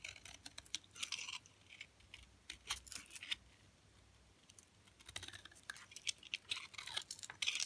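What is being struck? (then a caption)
Olive oil soap bar scraped with a knife blade. A utility knife blade scrapes and cuts thin flakes from the side of a solid, hard green olive oil soap bar held in hand, with the flakes piling onto a cloth. Crisp, bright scratchy crackles and short shaving strokes come in quick bursts, with a quiet pause in the middle before the scraping picks up again, louder toward the end.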